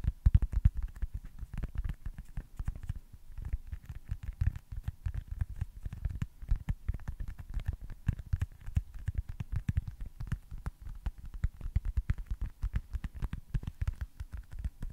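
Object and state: Foam baseball stress ball.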